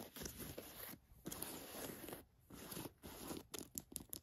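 Long nails tap and scratch the fabric and flap of the chest pocket on an olive cotton canvas jacket. Quiet, dry, scratchy bursts of broadband rustling, separated by short pauses. The clip ends in quick, sharp taps.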